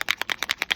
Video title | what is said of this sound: Marvy Pen Swatching Extravaganza | we want to shake it because you can hear there is a bead in there